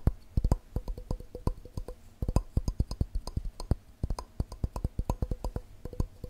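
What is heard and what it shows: A glass cup is tapped quickly with the fingers in a fast, uneven rhythm of short, dry taps. Each tap gives a dull low thump with a faint mid-pitched note and dies away almost at once.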